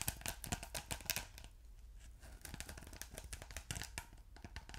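Fingertips and short nails scratch and press a ridged blue polyethylene foam block with a glittery texture, soft and solid. The result is dense, bright, crackly scratching in quick bursts that quiets briefly in the middle before picking back up with sharper scrapes and soft thuds.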